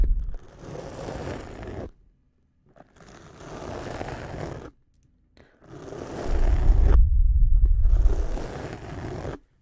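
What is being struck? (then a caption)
Feather badminton shuttlecock. A small, hollow white feather shuttlecock with a cork-type base is held in one hand beside the microphone while its feathers are rubbed and scratched with the fingertips. Four separate bursts of close, crackly rubbing and scraping are heard, divided by short silences. The sound is heavy and muffled, and the last burst swells into the loudest, deepest rumble.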